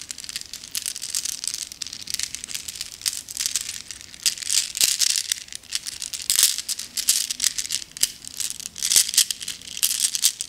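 A handful of small, solid, flat glass gems in a net mesh bag is held in both cupped hands with long nails and shaken, so the gems rattle against each other. The result is a continuous stream of bright, crisp glassy clicks and clinks, almost all high in pitch with no low end. The rattling comes in swelling bursts, with louder peaks near the middle and end.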